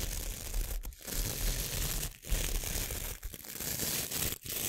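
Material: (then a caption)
Nylon. Long nails scratch and flick across the stiff nylon bristles of a small, solid, hand-sized white plastic scrub brush held close to the mic. The result is a steady, harsh, rough scratching hiss with bright crackly texture and low rumble, broken by a few brief dips where the nails lift off the bristles.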